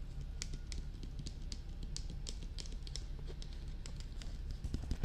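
Long red-painted nails and fingertips tap and scratch around the sides and ears of a life-size, glossy black, hollow hard-plastic dummy head binaural microphone. Quick, dry, bright clicks and taps patter over a steady low rumble, with scratchy brushing between them. The tapping grows a little louder toward the end.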